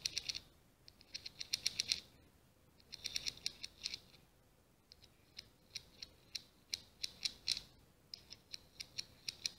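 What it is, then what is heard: Scallop shell scratched. A small ribbed scallop shell is scratched by long green-painted fingernails running over its ridges. The result is quick, dry, high-pitched clicking scrapes like scissors or a ratchet. They come in bursts with short pauses in between.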